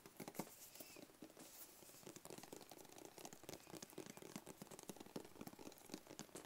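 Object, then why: Small rigid cardboard box. Fingertips and short nails tap rapidly on a small, rigid, hollow black cardboard gift box with a white label, held up close. The result is a quiet, dry, continuous patter of soft clicks with a faint hollow thud and brief crinkly highs, each tap dying away almost instantly.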